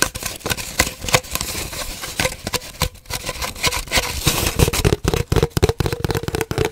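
Long dark nails tap and scratch an empty, hollow cardboard paper towel roll, held horizontally and then diagonally. Quick, irregular hollow taps ring briefly with a steady low-mid resonance, mixed with dry, bright scratching in between.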